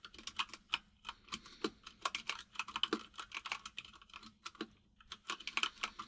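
Fingertips of both hands type on a full-size mechanical keyboard with white and grey plastic keycaps and a hollow case. The result is a rapid, uneven run of sharp, bright, dry clacks with almost no ring and very little low end, over a faint steady low hum.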